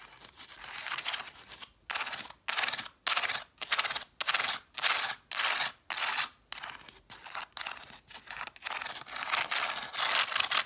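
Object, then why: Stack of cloth-bound hardcover books. Long nails scratch and rub quickly along the gold-lettered spines of a solid stack of red cloth-bound hardcover books. The sound is a dry, bright, hissing scrape in short repeated strokes separated by brief gaps, with almost no low end. It ends in a faster, more continuous stretch of rubbing.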